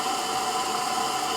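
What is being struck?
Nothing is struck.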